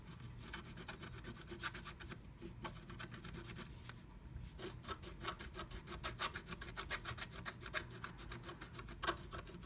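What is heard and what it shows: A wooden stylus scratches fast strokes across flat black scratch art paper inside a diamond-shaped stencil cut-out, revealing pink colour underneath. The sound is a quiet, steady run of dry, rasping scrapes, each a short burst of bright hiss over a low rumble. The strokes repeat rapidly and evenly throughout.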